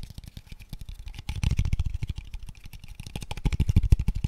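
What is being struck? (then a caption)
Small wooden square tube box. A small, light, empty hollow wooden square tube box in pale wood is tapped rapidly with fingertips and nails. The result is a fast, uneven run of dry, short knocks with a low hollow thud and bright clicky tops. The taps swell louder around the middle and again near the end.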